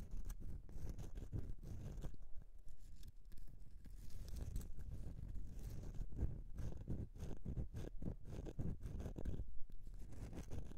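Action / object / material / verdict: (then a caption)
scrape / bar of soap scratched by fingernails / soap / none. Fingernail tips scratch and dig into the surface of a solid bar of soap resting on a mesh mat. The sound is a quiet, continuous run of dense, dry scraping and crunching strokes, weighted heavily toward low tones and lasting about eleven seconds.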